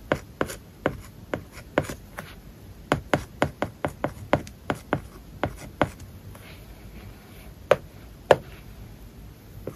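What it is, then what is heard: Tablet with matte paper-like screen film. A plastic stylus tip writes Japanese characters on an iPad covered with a matte, paper-like plastic film that lies solid and flat, giving about two dozen short, dry taps with light scratching between them. The taps come quickly through the first six seconds, then thin out to a few isolated, sharper ones. Each tap is crisp and mid-pitched, with no ring after it.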